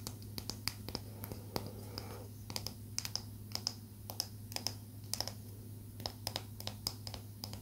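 A small solid palo santo wood stick is tapped rapidly and scratched with long nails, giving dozens of short, dry, bright clicks over a soft scratching texture. A steady low hum runs underneath throughout, and each tap dies away almost instantly.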